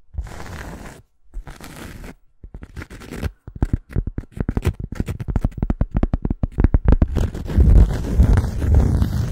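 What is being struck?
Thin cork coaster.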